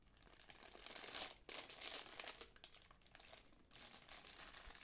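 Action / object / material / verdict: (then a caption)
scrape / tissue paper honeycomb ball / tissue paper / none. A small magenta tissue paper honeycomb ball with white cardboard end pieces is folded and unfolded by hand, its paper cells crinkled with nails and fingertips. The result is a dense, bright, papery crackle of quick rustles with almost no low end, pausing briefly and swelling again twice.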